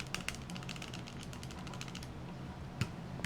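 A Ruger LCP MAX compact pistol is shaken by hand, giving a quick, uneven run of light clicks and rattles over a steady low hum. The rattle comes from loose internal parts, which is not normal for the pistol.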